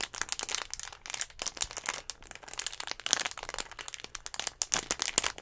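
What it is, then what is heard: Plastic drink bottle. A clear, hollow plastic Gatorade bottle with a little blue liquid inside is squeezed and tapped with fingertips and nails. It gives a dense stream of bright, dry crinkling and crackling with almost no low end. Each snap dies away instantly.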